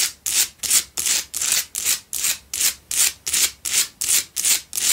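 Long pale-blue nails scratch the sides and front of a lit pink Himalayan salt candle holder, a solid salt block that holds two candles. Thirteen quick, regular rasping strokes are heard, each a bright, high, dry scrape with almost no low end that cuts off sharply without ringing.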